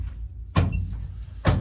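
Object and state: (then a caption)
Hollow rock cave floor. Two stomps on a rock cave floor each give a deep, low boom like a drum, dominated by energy below 200 Hz with a short ring. The floor sounds hollow, with a big volume of space beneath it.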